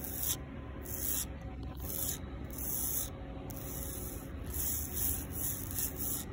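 Fingertips and long pink nails rub and scratch a solid, rough concrete sidewalk pavement. Repeated bursts of bright, gritty scraping rise and fall over a steady low rumble.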